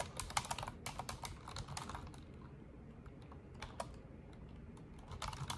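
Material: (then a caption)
Plastic. An Asus desktop keyboard with black plastic keycaps and a silver frame is typed on with long orange nails and fingertips in rapid key taps. Quick, bright plastic clicks come in a dense flurry, thin out to a few scattered taps with a low, steady rumble beneath, then pick up again at the end.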